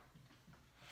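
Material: Nothing is struck.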